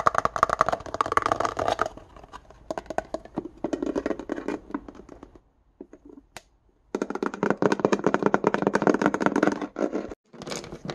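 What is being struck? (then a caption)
Small plastic index card box. A small, hollow, apparently empty index card box with a clear plastic body and white plastic lid is held in the hand and tapped and scratched with fingernails along the lid edge and sides. Fast, irregular clicking taps and scratches come in dense bursts with a brief near-silent pause in the middle.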